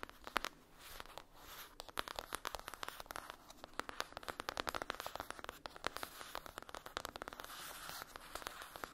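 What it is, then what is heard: Cardboard eyeshadow palette. Long acrylic nails scratch and tap on a closed, flat rectangular cardboard eyeshadow palette with a foil-printed lid, resting on a fluffy blanket. A quick, uneven run of sharp, dry clicks mixes with crackly, crinkling scratches that sound bright and papery, with almost no low end. Each tap stops instantly with no ring.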